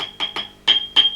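A microphonic preamp valve in a Marshall JCM2000 TSL amp is tapped several times, and each tap comes through the amp as a bright, high metallic ping around 3.2 kHz over a steady high whine. This valve is the faulty one causing the problem, and swapping it for a JJ valve gets rid of the noise.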